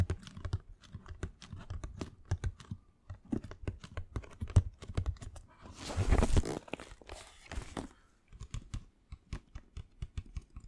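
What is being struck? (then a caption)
Cardboard shoebox. Fingernails tap rapidly in a typing-like rhythm on a closed, hollow black Air Jordan cardboard shoebox with a grey speckled lid, held in the hands. Dense, short, dull clicks with a low hollow thump are heard throughout, and a brief scraping, crinkling rush occurs near the middle.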